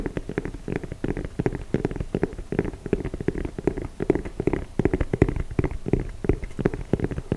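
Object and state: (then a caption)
Rubber shoe sole. Fingertips and nails rapidly tap and scratch along the treads of the dark grey, ridged rubber sole of a chunky sneaker held up close to a microphone. A dense, steady stream of short, dull, muffled taps and rubbery scrapes carries mostly low, thumpy body with little brightness, each hit dying away almost instantly.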